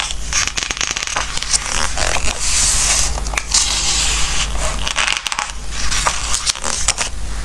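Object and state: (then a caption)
Glossy book pages rubbed and turned. Fingertips of both hands rub flat across the glossy coated pages of an open softcover Christmas book and turn the pages, making squeaky, crackling paper rubbing with bright swishes and crisp flicks. A steady low hum sits underneath throughout.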